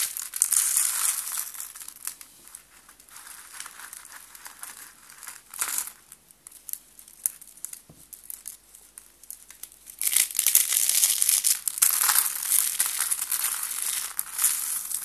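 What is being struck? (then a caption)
Stack of thin soap sheets. Fingertips with pink nails press into a tall stack of thin white dry soap sheets, crushing and breaking the layers. Dense, bright, crackling crunches with almost no low end are heard: loud at the start, quieter and sparser in the middle, then a sustained louder burst of crunching from about ten seconds to the end.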